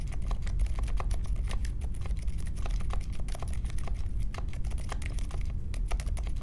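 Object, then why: Mechanical keyboard with metal case and plastic keycaps. Fingertips type steadily on plastic keycaps of a compact Polaris mechanical keyboard with a metal case and Silent Alpaca switches, resting on a marble desk. A continuous stream of soft, muted keystrokes sounds over a deep, low-heavy thump, with brief bright ticks on each key press.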